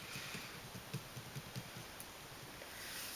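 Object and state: Nothing is struck.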